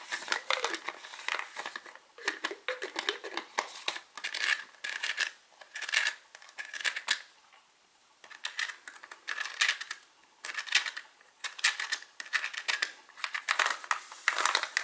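Fingertips and short nails tap and scratch the ridged white plastic screw lid of a medium, hollow, partly full translucent plastic H-E-B gummy vitamin bottle while the other hand holds the bottle. The result is bursts of quick, bright, crisp clicking and scraping with a faint plasticky ring near 1.9 kHz and no low end, separated by brief quiet pauses.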